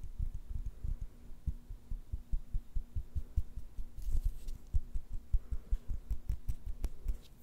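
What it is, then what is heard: Glass jar with beads. A small glass jar with a metal lid, holding pink beads, is held in both hands and tapped on the glass with long nails. The result is a quick, uneven run of soft, dull taps that die away almost at once. A faint brighter rustle comes in around the middle.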